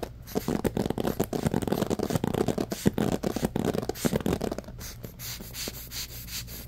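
A handheld bamboo paddle hairbrush with a black rubber cushion and wooden-tipped pins is scratched and rubbed through its pins by fingertips. Fast, dense bursts of scratchy, rustling friction dominate the first four and a half seconds, then the sound thins out to quieter, softer rubbing until the end.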